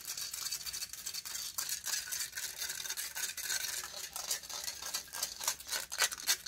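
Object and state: Metal microphone grille being scratched.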